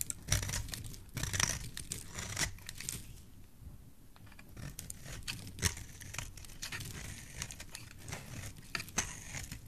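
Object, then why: Bar of soap cut with a blade. A solid oval yellow soap bar, held in the hand, is shaved into thin strands with a dark utility knife blade. Dense crinkly scraping and cutting is heard, with sharp bright crackles and a steady low rustle, and the cuts run together rather than falling apart as separate hits.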